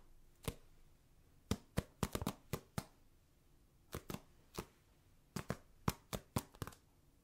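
A small, hand-sized, solid orange foam mini basketball stress ball with black seams and a glossy surface (possibly polyurethane foam) is held in one hand and tapped with the fingertips and nails of the other. Around seventeen short, dry taps, each with a soft low thump and a crisp, bright click, fall in an irregular pattern of quick clusters and pauses. Each tap dies away almost instantly against a quiet background.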